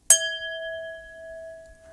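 A drinking glass is struck once, either with a finger or a pen, and it rings with a clear tone. The tone has a main resonance at 659 Hz and fainter bright overtones above it. The ring sustains steadily for the rest of the clip after a brief bright attack.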